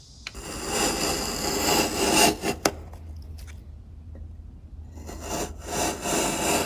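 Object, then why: Wooden block scraped by a steel chisel. A steel chisel pushed by hand pares and scrapes along the top edge of a solid, pale, light-coloured wooden block, roughly hand-sized, resting on a workbench among shavings. Long, bright, rasping strokes are broken by two sharp clicks in the middle. A quieter, softer scraping stretch follows before the strokes build again toward the end.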